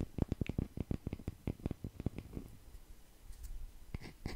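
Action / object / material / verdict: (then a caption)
tap / round wooden log slice coaster / wood / none. A palm-sized round wooden log slice coaster, solid natural wood with growth rings and bark, is scratched and tapped with the fingertips close to the microphone. Quick, dry, low taps come in a fast run through the first two seconds, then give way to softer scratching and a few last brighter taps near the end.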